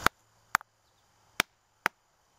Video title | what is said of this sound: Rockhounds Hammering Technique Collecting Rocks and Minerals | that area is obviously got a fracture somehow in the vicinity which means it's not firmly attached